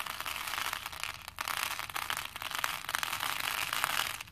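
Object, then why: Plastic pearl beads in a plastic bowl. Both hands lift and drop handfuls of small plastic faux pearl beads into a plastic bowl. The beads click together in a dense, continuous, bright rattle with almost no low end, easing briefly between handfuls before swelling again.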